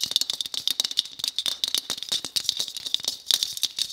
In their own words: ASMR Tapping On A White Bauble